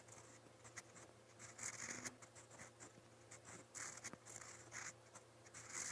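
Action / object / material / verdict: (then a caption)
scrape / metal pen nib on lined notebook paper / paper / none. A metal fountain pen nib scratches across a lined white paper page in a notebook in quick writing strokes. The sound is a quiet, bright, dry scratching in short bursts with brief pauses, over a faint steady low hum.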